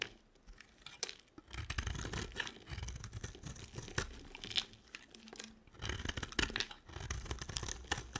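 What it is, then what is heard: Dry soap bar being carved. A solid white dry soap bar held in the hand is carved with a box cutter, making shaving and scraping strokes that peel off flakes. Dry, crisp scraping and crinkly tearing sounds come in bursts, with bright crackle on top and a soft low rumble from handling, after a quiet start.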